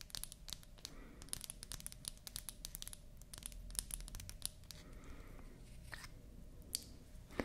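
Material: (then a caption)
Wood. Long nails scratch and tap a small, solid, pink-painted wooden toy lipstick with a natural wood cap as it is held up. The result is a quick run of crisp, bright clicks over a faint scratchy rustle and low background rumble. The cap is pulled off at the end with a final sharp click.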